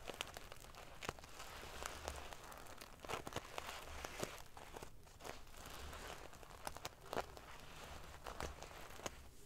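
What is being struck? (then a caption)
Metal sequin pillow. Long painted fingernails scratch and ruffle a large decorative pillow covered in rows of small silver metal sequins sewn onto fabric. The result is a steady, dense bed of crisp, prickly clicks and crinkles, with sharp bright ticks popping out over a soft low rumble.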